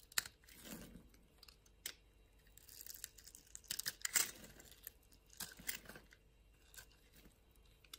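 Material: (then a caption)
Soap. A utility knife blade slices and scrapes thin layers off a small, solid blue-and-white striped bar of soap held in the palm. Quiet, crisp, bright shaving and scraping bursts come in irregular strokes, each cutting off sharply with almost no ring, separated by near-silence.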